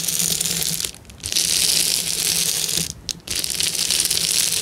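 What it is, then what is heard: Plastic bubble wrap being crushed. A hand presses and crushes the bubbles of a clear plastic bubble wrap sheet while fingertips scratch its surface. The result is a dense, bright, high crackling and crinkling that runs almost continuously, with two brief quieter gaps near 1 and 3 seconds.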